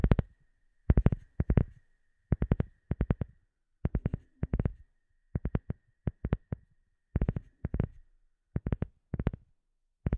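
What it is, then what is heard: Rubber sheet. Fingernails and fingertips of both hands tap and scratch a round, flat black rubber sheet held up behind the microphone. Quick bursts of soft, dull, low thuds come in short clusters, each dying out almost at once, with a faint steady tone near 2 kHz behind them.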